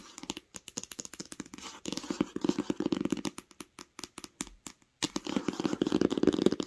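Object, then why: Hardcover book cover. Long acrylic nails tap fast on the smooth cover of a large green hardcover book lying flat on a blanket. The result is quick, irregular bursts of dry, crisp clicks with almost no ring, separated by brief pauses. The tapping grows louder and denser in the middle and again toward the end.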